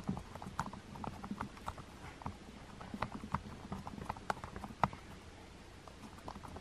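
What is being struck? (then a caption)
Plastic TV remote with rubber buttons. Fingertips with long painted nails press and tap the white rubber number buttons on a small, hollow black plastic TV remote control. The result is a quiet, irregular run of soft, dry clicks and taps with a mid-pitched knock and a low thud underneath. Each one stops almost instantly, with no ring.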